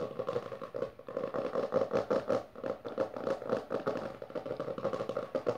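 Long dark nails on both hands tap and scratch fast across the maroon textured cover of a closed hardcover book resting on purple satin. The result is a dense, continuous stream of quick dry clicks and scratchy rasps, mostly in the midrange around 500 Hz, with little low end. Each tap dies away almost instantly.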